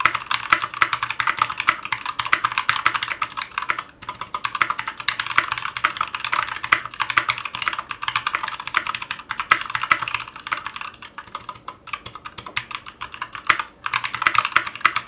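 A 60% Clueboard mechanical keyboard with Zealios V2 62g switches, a metal case and GMK ABS plastic keycaps sits on a cutting mat and is typed on with the fingertips of both hands. Rapid, continuous key presses give sharp, short clacks centered around 1.3 kHz with bright high-end detail, broken by brief pauses around 4 and 13.5 seconds.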